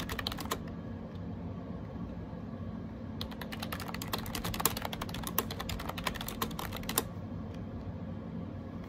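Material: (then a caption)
Plastic. Fingertips type steadily on a gray plastic AJAZZ 308i wireless Bluetooth keyboard with round keycaps, resting on a desk. A brief burst of quick, bright key clicks is followed by a pause, then a long run of dense, rapid tapping and a few scattered final clicks. A low steady hum sits underneath throughout.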